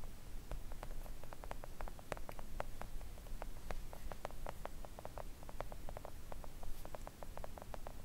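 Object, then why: Silicone nail art mat. Long acrylic nail tips tap quickly with both hands on a flat, thin, solid pink silicone nail art mat. The result is a fast, irregular stream of short, dry clicks with very little ring, over a steady low rumble.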